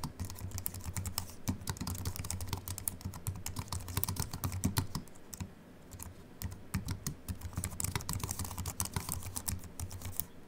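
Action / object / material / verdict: tap / aluminium and plastic computer keyboard / aluminium, plastic / none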